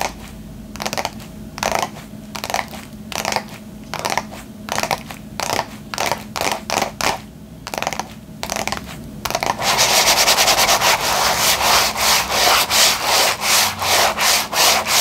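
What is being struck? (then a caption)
Padded bubble mailer envelope. Long nails rub and scratch across the surface of a yellow padded bubble mailer envelope held against the chest. Crisp, papery scratching strokes come in separate bursts at first, then speed up after about nine seconds into a dense, continuous run of rapid, louder scratches.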